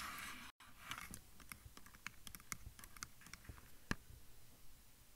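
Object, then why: Handheld plastic audio recorder. Fingertips and nails rapidly tap and scratch the top and sides of a hand-sized, hollow-bodied black plastic handheld field recorder, the microphone itself. A bright, scratchy hiss at the start cuts to a brief silence, then gives way to a quick run of dry, close clicks and taps with a low thump under each. Every hit dies out almost at once.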